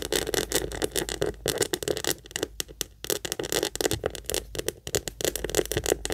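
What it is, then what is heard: Leather purse, tapped and scratched. Long nails rapidly tap and scratch the flat front face of a small, hollow pink leather heart-shaped purse held up in the air. The result is a dense stream of quick, dry taps and scratchy rasps with no ring, centered in the low-mids with a bright, hissy edge.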